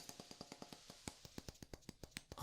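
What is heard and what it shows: A wooden block is tapped in a quick series of short, dry knocks that speed up and slow down. About sixteen separate taps are heard, each with a low woody thump and a bright click that dies away almost at once.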